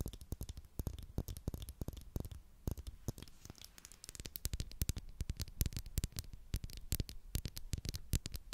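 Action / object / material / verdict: tap / plastic glue stick / plastic / none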